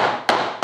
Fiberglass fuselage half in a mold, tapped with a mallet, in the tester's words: I'm not even really hitting it very hard just tapping it you can hear it popping loose